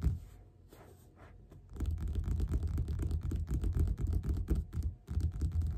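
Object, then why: Paperback book with glossy card cover. Both hands tap their fingerpads quickly on the glossy printed cover of a solid, closed yellow paperback lying flat on a table. After a quiet, sparse opening, a dense run of soft, dull, low thuds begins. It keeps a fast, uneven rhythm with a brief pause near the end.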